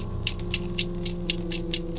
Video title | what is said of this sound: FIX TEREKAM JELAS! Ternyata Ulah Sosok Ini Jadi Penyebab Ketukan Pintu Misterius di Karawang | Kalau pagar yang terbuat dari besi lalu kita ketok-ketokkan besi dengan besi akan menghasilkan suara seperti itu.